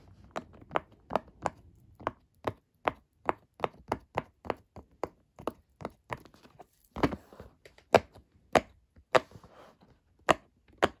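Fingertips repeatedly press and pop the hollow bubbles of a flat, square, rainbow silicone pop-it fidget toy lying on a dark table. About 22 short, dry pops ring out one after another at an uneven pace, each a brief midrange snap centered near 660 Hz that dies away almost instantly. A few later pops sound louder and carry a faint crinkly texture.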